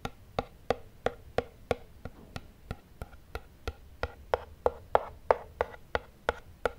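Fingertips and nails tap and scratch the printed front face of a small, rigid, closed black cardboard iPhone retail box. There are 21 short, dry, hollow knocks at a steady pace of about one and a half per second, each with a woody midrange tone and almost no ring.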